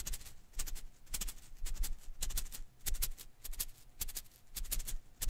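Fingers rub and ruffle the strands of a hand-sized blue and green rubber-filament Koosh ball held in one hand. The result is irregular bursts of soft, crackly rustling with bright, clicky edges over a low, dull thump.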